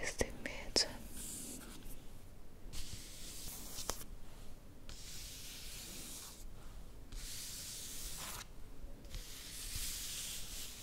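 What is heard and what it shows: Fingertips and long nails rub and scratch across the glossy cover of a paper magazine with a perfume ad, held up close. The result is soft, airy, bright scratching hiss in long sweeps with brief quiet pauses, plus a few sharp ticks near the start.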